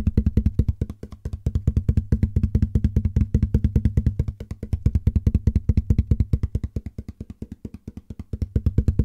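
A medium open corrugated cardboard box, hollow and empty, is held up in one hand and tapped on its sides with the fingertips of the other hand. It gives a fast, uneven run of short, dull, low hollow thumps that die away almost at once, with the tapping swelling louder and softer in waves.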